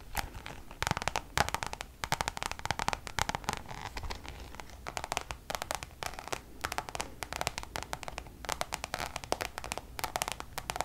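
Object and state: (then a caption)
Coated canvas pouch tapped with nails. Long nails tap rapidly on the face of a coated-canvas Louis Vuitton designer pouch held in both hands. The result is a dense run of short, dry clicks with a bright, crackly edge and a faint papery tone around 800 Hz, and each tap dies away almost at once.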